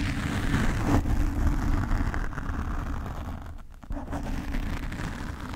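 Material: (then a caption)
Foam. A black foam windscreen on a desk microphone is scratched with the fingernails of both hands. The result is a dense, steady, low rumbling scrape with rough, crackly texture, mostly below 200 Hz and almost no high content. It briefly dips near the end before resuming.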